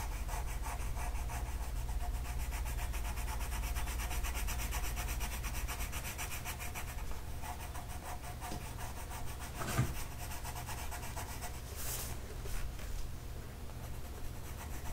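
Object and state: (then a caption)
Colored pencil on a paper coloring sheet. A light blue colored pencil scratches and rubs across a flat paper mandala coloring sheet in quick, steady back-and-forth strokes. The soft, bright scraping holds at an even level over a constant low hum, with a couple of sharper scratches near the end.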